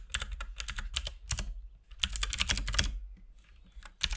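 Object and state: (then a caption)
Plastic mechanical keyboard being typed on. Fingertips type continuously on a compact RGB-backlit mechanical keyboard with plastic keycaps and a hollow case, producing bursts of sharp, bright clacks with a low thud beneath each press. The keystrokes come in quick clusters separated by brief pauses, each dying away almost instantly.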